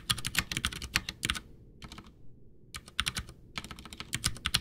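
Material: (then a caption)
Plastic. Both hands type with their fingertips on a full-size white plastic Ducky One 2 mechanical keyboard with Cherry MX Brown switches, backlit, with a hollow case, resting on a desk. Quick bright clacks carry a low hollow thud underneath, in uneven bursts broken by short pauses.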